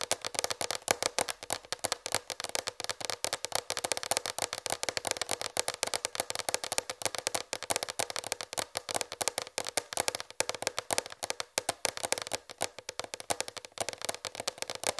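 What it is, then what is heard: Plastic tray tapped with fingernails. Long red fingernails tap rapidly on a large, raised white plastic tray. The result is a steady stream of quick, dry, clicky taps with a hollow tone around 555 Hz and a bright top. Each tap dies away almost instantly, with very little low end.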